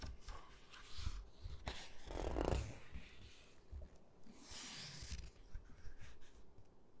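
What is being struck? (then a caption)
Hardcover book with glossy paper pages. Fingertips rub across the glossy paper pages of an open hardcover photo book and flip them, making soft, quiet rustling and sliding sounds. Brief bright swishes of paper over a low, dull rumble swell to a louder, fuller rustle near the middle, then fade into lighter brushing and faint taps.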